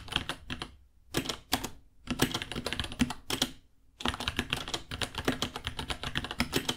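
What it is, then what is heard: Plastic mechanical keyboard typing. A small white 66-key mechanical keyboard with Gateron Brown switches, white plastic keycaps, a hollow case and pink underglow sits on a white desk while both hands type on it with their fingertips. Rapid, bright, clacky key taps with a hollow low thock come in bursts separated by brief pauses, each tap dying away almost instantly.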